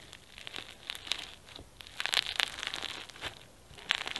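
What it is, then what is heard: Foam bead slime (floam). Fingertips press and knead pink foam bead slime (floam) with sequins flat on a white surface, then both hands squeeze it into a ball. This produces quiet, crunchy crinkling pops, short, bright bursts with almost no low end. They cluster most densely in the middle and toward the end.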